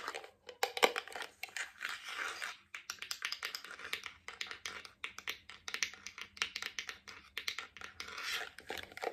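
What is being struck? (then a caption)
Plastic jar tapped with nails and rings. A hollow, medium-sized white round plastic cosmetic jar with a lid is held in the hands and tapped on its side and lid with fingertips, nails and metal rings on the fingers. The result is a dense, irregular stream of quick, bright clicks and clacks with very short decay, mixed with light scratchy, crinkling textures and almost no low end.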